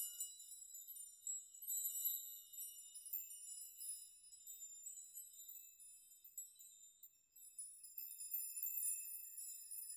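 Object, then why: Hanging metal nails. Hanging metal nails are rocked back and forth by both hands in a shaking motion so they strike and chime against one another. The result is a quiet, continuous shimmer of bright, high tinkling with short rings, lacking any low end, and swelling louder in bursts near the start and again toward the end.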